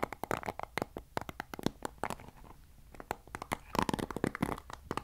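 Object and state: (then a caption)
Plastic paddle hairbrush. Fingertips scratch the white-tipped bristles of a black plastic paddle hairbrush close to the mic, making a rapid series of short, dry, crackling clicks and scrapes. The clicks vary in loudness, thin out briefly in the middle, then grow denser again, with no ring after each one.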